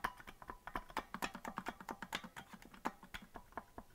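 Fingers rapidly tap the plastic keys of a hollow green plastic melodica that is not being blown, producing a quick, irregular run of dry, sharp clicks. Each short click dies away almost at once, with a bright edge and a faint tone around 1 kHz.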